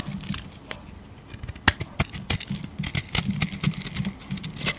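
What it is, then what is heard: Bar of soap being shaved. A hand-sized solid pink bar of soap, held in the palm of a hand with teal-painted nails, is shaved with a flat metal razor blade so thick flakes curl off. A rapid series of short, crisp scraping and crackling strokes rings out bright and dry, over a faint low hum.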